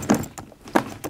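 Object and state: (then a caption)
Empty locked case. A locked doctor's case, found in an abandoned house and held shut by key locks, is shaken, giving four hollow, dull thunks with brief rattles. The knocks sound empty, suggesting nothing is left inside, though the case stays locked so this is never confirmed.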